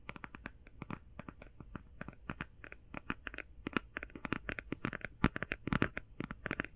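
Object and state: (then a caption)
Cardboard palette tapped with fingernails. Long painted fingernails tap fast on a closed, flat, rectangular, hand-sized cardboard eyeshadow palette held near the mic. About forty short, dry, papery clicks with a soft low thud land in quick irregular bursts, dying away instantly. The taps grow slightly louder and denser toward the end.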